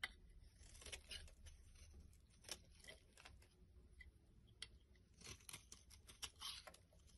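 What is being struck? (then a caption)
Bar of soap scraped with a blade. A black blade scrapes crumbly shavings off the surface and edges of a solid rectangular yellow bar of soap with a ribbed, stamped face, held in the hand. Quiet, bright scratchy scrapes and short crackling bursts come one after another over a soft low rumble, each dying away almost at once.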